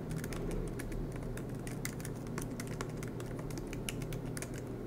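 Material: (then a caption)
Plastic. Fingertips tap steadily across the black plastic keys of an aluminum MacBook Pro laptop, producing a quick run of light, bright clicks. A steady low hum sits underneath the irregular typing throughout.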